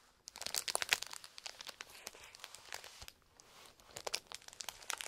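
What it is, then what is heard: Plastic toy blister package. Fingertips of gloved hands press and crinkle a small, flat, colourful printed plastic toy blister package with a toy inside, lying on a textured mat. Dense, bright, crisp crackles and snaps come in quick bursts, ease into a brief quieter lull around the three-second mark, then pick up again.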